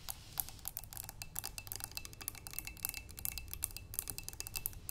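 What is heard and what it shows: Long nails rapidly tap and scratch the curved sides of a clear glass vase holding water and green tulip stems. The result is a quick, uneven stream of short, bright glassy clicks with faint high ringing that fades almost instantly, over a soft low background rumble.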